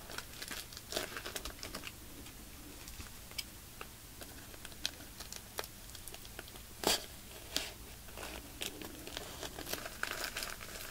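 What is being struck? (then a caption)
Thin plastic bag filled with polyester fiber. Fingers squeeze and crinkle the thin plastic film of a soft, full plastic bag stuffed with white polyester fiber fake snow. The result is a steady stream of quiet, bright crackles and rustles, with a few sharper, louder crinkles standing out over a faint low hum.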